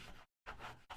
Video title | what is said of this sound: Basic Leatherworking for Glowforge Users - Part 1 - Buying your first leather | it crunches like cardboard it makes sounds like cardboard